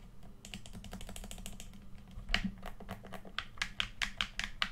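A red, hand-sized, hollow plastic PS4 controller is held in both hands while the thumbs tap and press its buttons and sticks. Quick, dry plastic clicks come in a steady run over a low hum, with bright, sharp accents around 3 kHz. The clicks grow louder and more widely spaced toward the end.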